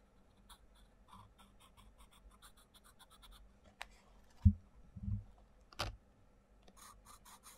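A wooden coloured pencil tip scratches and rubs across the paper page of an open paperback colouring book with butterfly outlines, resting on a wooden table, while the other hand holds the page flat. Quiet, steady scratchy colouring strokes run throughout, with a few soft low thumps and a couple of brief bright clicks midway.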